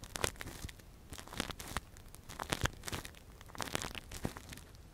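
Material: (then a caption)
Silicone. A gloved hand scratches and probes inside the hollow ear canal of a soft, translucent, hand-sized silicone ear model that covers a binaural microphone, using a thin metal earpick. Close, dry crackling, crinkling and tearing-like scrapes come in clustered bursts with bright, broadband transients over a low rumble. There is no talking.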